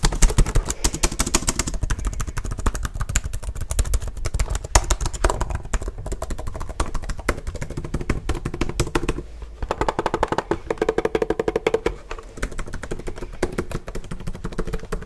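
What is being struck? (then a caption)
Plastic laptop keyboard. Fingertips type fast and hard on the keys of a black plastic HP laptop held up close, making a dense stream of sharp plastic clicks and clacks. The tapping runs continuously with a low thumping body underneath.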